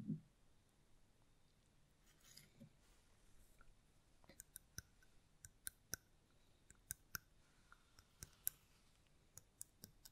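A small, hollow, round red mosaic-glass votive holder with a lit candle inside is held in one hand and tapped with the long nails of the other. The result is a quiet series of sharp, bright, dry glassy clicks with almost no ring, spaced irregularly after a soft low thump at the start and a brief faint rustle.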